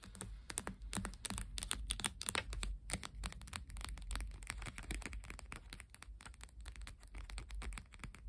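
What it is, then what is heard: Deck of coated paper playing cards. Long painted fingernails rapidly tap and scratch the top and edges of a small, solid stack of coated paper cardstock UNO playing cards. The result is a dense, irregular run of quick, crisp clicks and scratchy ticks, with a steady low rumble underneath.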